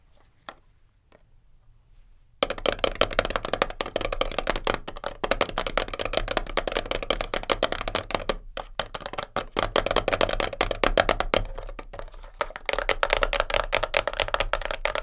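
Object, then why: Small closed cardboard box. Long nails tap fast on the top and front of a small white printed cardboard kinesiology tape box, closed and hollow, sitting on a fur rug. After a near-silent opening with a few faint ticks, a dense stream of quick, dry, hollow clicks starts at about 2.4 seconds, centered in the midrange with a bright papery edge. It breaks briefly near 8.5 seconds and thins out around 12 seconds before picking back up.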